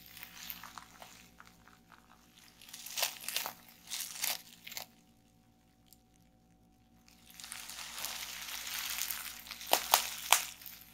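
A roll of clear plastic bubble wrap on a table is twisted by hands, pressed with long nails and squeezed by fingers, giving bright crinkling and crunching with bursts of popping bubbles. A near-silent pause in the middle is followed by denser crinkling and a few sharp, loud pops at the end.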